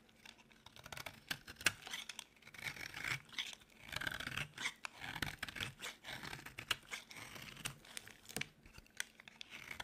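A solid, dry, white oval bar of soap is held in the palm and carved by scraping with a metal utility blade, with the shavings piling up on the table. Dense, crisp, bright scraping and crumbly shaving sounds come in quick, irregular strokes with a few sharper snaps, and each one dies away almost instantly.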